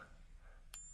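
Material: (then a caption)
Copper-nickel. A copper-nickel coin balanced on a fingertip is gently tapped once with another coin, giving a single sharp ping with a high, whiny ring that fades within about a third of a second over a faint low background hum. The thin, pitchy tone marks it as copper-nickel, not silver.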